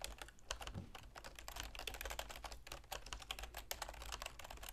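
Rapid key tapping on a full-size black plastic keyboard with a silver plastic frame, resting on a wooden desk and typed on with long manicured fingernails and fingertips. It produces a dense, continuous stream of short, bright clicky taps over a steady low hum.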